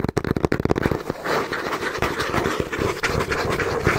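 Fingertips and short nails tap and lightly scratch the front face of a small, hollow brown cardboard box held in both hands. A quick run of dry, hollow taps with a low-mid thump gives way to a denser, continuous scratching texture with faint taps mixed in.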